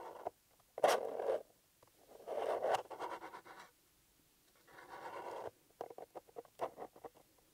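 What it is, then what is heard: Cardboard box scratched and tapped. A small, flat, closed, hollow blue paper-covered EMTEC cardboard box is held in one hand while the fingertips and short nails of the other scratch and tap its top surface. Bursts of soft, papery scratching in the midrange alternate with short, dry taps and brief pauses.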